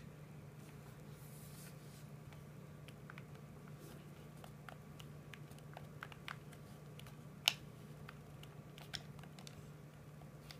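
A hollow hard plastic PS4 controller is held in both hands while thumbs and fingertips press and tap its buttons and sticks. The result is quiet, sharp, bright plastic clicks and ticks scattered over a steady low hum, with one louder snap partway through.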